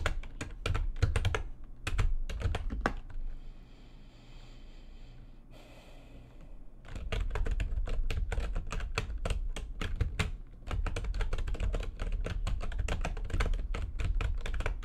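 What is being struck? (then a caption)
Plastic computer keyboard. Fast typing with long nails and fingertips on a full-size plastic computer keyboard with white backlighting and a hollow housing. Quick, irregular bursts of hollow, low-heavy key clacks with bright clicky edges stop for a quiet stretch in the middle, leaving only a faint low hum, before resuming steadily to the end.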